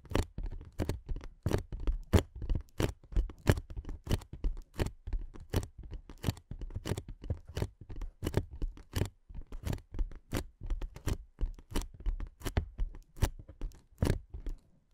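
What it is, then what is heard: Inflatable plastic air cushion, hollow. Long nails tap and scratch along the top edge of a clear, hollow, air-filled inflatable plastic air-column cushion. About 49 quick, irregular taps land over 15 seconds, each a short, dull, low thump around 94 Hz with sharp clicky attacks. Soft scratchy rustles fill the gaps, and nothing rings on after each hit.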